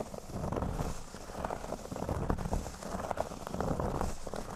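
Fingernails scratch quickly across the center of a flat, thin, solid cork board lying on a table. The result is a continuous, dense, crackly rustle that rises and falls in loudness, weighted toward low, dull tones, with faint brighter hiss above.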